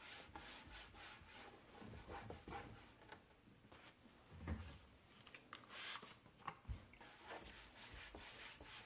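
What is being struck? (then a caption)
Wood-grain laminate cabinet door. A hand wipes and rubs a paper towel over a large, flat, dark brown wood-grain laminate kitchen cabinet door, a solid panel, while the other hand holds its edge. Soft, continuous scrubbing swishes run throughout, with a few louder, brighter strokes and low thumps as the towel drags across the surface.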